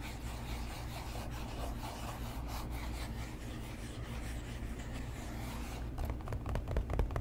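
Fingertips and nails tap and scratch the upper of an empty, hollow tan leather boat shoe with laces, held close to the mic. A steady soft rubbing and scratching with a low rumble runs for most of the clip, then turns into sharper, louder taps near the end.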